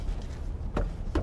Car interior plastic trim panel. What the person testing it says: 플라스틱 잡소리를 많이 고민들을 하시는데 이렇게 때려 보면 안납니다